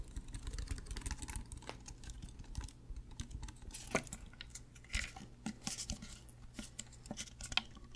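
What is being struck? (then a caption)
Plastic drink bottle. Fingernails tap along the label and body of a white plastic Prime sports drink bottle with a black cap, hollow and apparently full. The taps come as quick, dry, bright clicks in irregular bursts, each dying away almost instantly, over a steady low hum.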